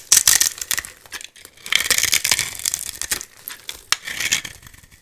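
A metal blade scrapes and cuts flakes and small cubes off a hand-sized solid white bar of soap with a gold-painted embossed coating, held in one hand. Crisp, bright crackling and scraping bursts come in quick, uneven clusters with very little low end. Each crunch is dry and short, with almost no ring.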